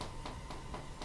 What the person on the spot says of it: you want them to sound hollow when you flick it. So they're done.